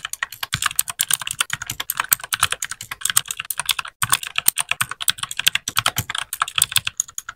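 Fingertips of both hands type steadily on a compact white RGB-backlit mechanical keyboard with plastic keycaps. A rapid stream of short, bright, clacky key taps with almost no low end, broken by a brief pause midway.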